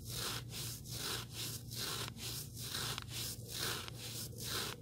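Fingertips rub and scratch the surface and edge of a small, solid black abrasive sanding sponge block. Repeated rasping strokes of bright, hissy scraping come at a loose, roughly steady pace, with short dips between them. A low hum runs underneath throughout.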